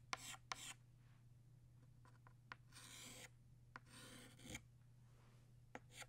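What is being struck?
Chalk stick on a slate chalkboard.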